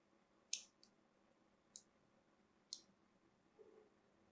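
A small metal blade carves more grooves into a cream solid bar of soap held in the hand and already covered in carved lines. Three crisp, bright scraping clicks stand out, each fading almost at once, with faint softer scratches between them over a quiet background.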